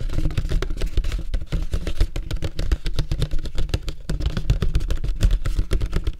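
Fingertips and nails tap quickly on the outer wall of a large, empty, hollow yellow-and-red printed paperboard popcorn bucket held on its side. The result is a rapid, continuous patter of short, dull, hollow thumps, deep and boomy with almost no high end, each tap dying away almost instantly.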